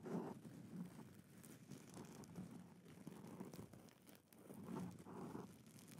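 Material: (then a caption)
Satin. A light, flexible rose-gold satin gift ribbon bow is held close to a microphone and crumpled and rubbed between fingers and long nails. The sound is a quiet, continuous soft rustling and crinkling, with low-mid fabric swishes and faint brighter scratches from the nails.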